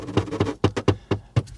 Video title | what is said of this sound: Intérieur Premium pour ce VOLVO EX30 ? | toc toc toc est-ce qu'il y a quelqu'un ça sonne creux